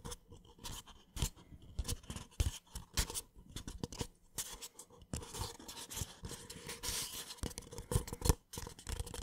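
A small, empty, hollow white paper (cardboard) drinking cup is held in one hand close to the microphone while the fingertips and short nails of the other hand scratch and tap its outside. Quick, dry taps with hollow low thumps are mixed with bright, papery scraping and crackling bursts that stop almost instantly. The taps and scratches come in an irregular, close-up stream throughout.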